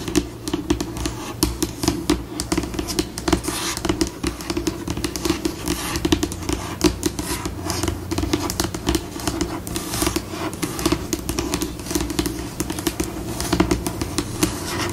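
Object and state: Laminated tabletop scratched and tapped with fingernails.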